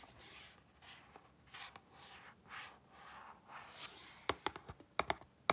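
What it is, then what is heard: Cardboard box, scratched and tapped. Long glittery pink nails and fingertips scratch and rub across the flat printed surface of a small, hollow, closed cardboard retail box of mango mochi held in both hands over a green mat. Soft, airy, hissing strokes come in bursts for about four seconds, then seven sharp, bright nail taps click on the box toward the end.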